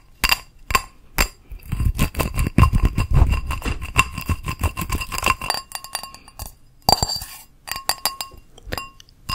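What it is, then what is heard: Ceramic bowl. A small teal ceramic bowl with an embossed geometric outside and a glazed inside, hollow and empty, is held in the hand and tapped with long nails on the outside and inside. Quick, clinking taps come in uneven bursts, each with a bright, short ring over a low knocking body.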